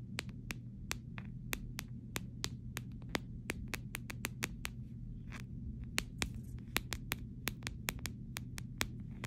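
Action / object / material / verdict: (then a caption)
tap / plastic phone case / plastic / none. The back of a clear plastic phone case is tapped with several short fingernails, giving a quick, irregular series of sharp, crisp clicks that stop almost instantly. A steady low hum runs underneath throughout.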